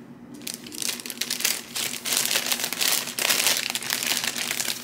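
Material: Cellophane.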